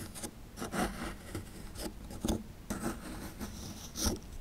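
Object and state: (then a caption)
Plaster fossil dig block being scraped. A chisel tool pries and scrapes chunks of plaster from a small solid plaster fossil dig block. It makes eight short, dry scraping and crumbling strokes with a gritty, bright rasp over a low rumble. Each stroke fades quickly.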